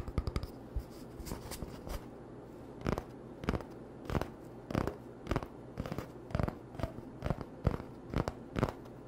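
An empty, hollow brown cardboard toilet paper roll tube is held in the hands and tapped and scratched with short fingertips and nails. The result is a quiet series of dry, short tapping and scratching bursts with brief bright edges, spaced steadily over a low, steady background hum.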